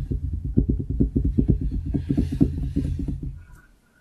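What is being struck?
Wooden desktop.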